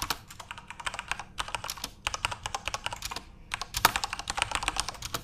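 Both hands tap rapidly with their fingertips on a full-size Corsair RGB-backlit mechanical keyboard with plastic keycaps, producing about forty sharp, bright clicks. The clicks come in quick bursts separated by brief pauses, and each one cuts off almost instantly.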